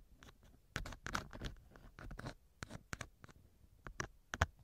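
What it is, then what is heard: Silicone ear of binaural microphone. A thin wooden earpick scratches inside the left ear canal of a small hollow silicone ear model mounted on a binaural microphone. Close, dry scratching and rubbing bursts come in quick irregular strokes, with a muffled low-heavy tone and a few sharper, louder scrapes toward the end.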